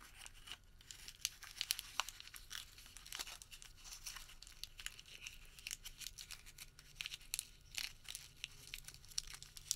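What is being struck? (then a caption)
Thin paper receipt. A small, thin, light white thermal paper store receipt is crumpled into a tight ball and worked between the fingertips of both hands. It makes a steady, quiet stream of crisp crinkling and crumpling with sharp, bright crackles and almost no low end.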